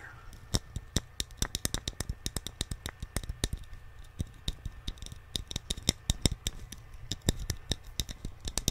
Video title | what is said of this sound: ASMR Tapping On Things - Unique Sounds | the tapping gets higher pitch as you decrease in size which you piece it's probably because of the hollow inside and the thickness of the wood